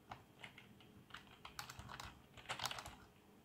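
Fingertips of both hands type on a black plastic membrane keyboard with RGB backlight, giving soft, quick key taps with a bright, short clatter. The taps come in uneven bursts, with a denser cluster near the end.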